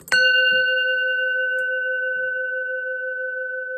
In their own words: It's a bronze bell with a sort of hoof thing here. Just listen how long it rings for.